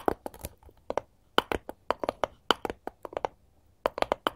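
A solid, light wooden cutting board held upright is tapped quickly and repeatedly with the long gold metal claw tips of both hands. About twenty short, dry clicks come in quick bursts separated by brief pauses. Each has a woody midrange knock with a bright edge and almost no ring.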